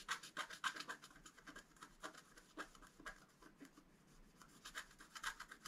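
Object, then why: Black-coated scratch art card scratched with a wooden stylus. A wooden stylus scratches the antler and flower area of a flat black-coated scratch art card lying on a table. Short, dry, bright scratching strokes come in a quick, uneven rhythm, quiet and with almost no low end, each stopping at once without ringing.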